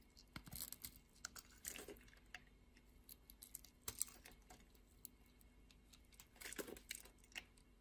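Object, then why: Solid bar of soap. A flat metal utility-knife blade scrapes and slices thin layers off the surface of a solid, partly translucent purple soap bar held in the palm. The sound is a quiet series of crisp, bright scraping and crackling strokes with short clicking ticks between them. Louder shaving bursts come near the start, middle and end.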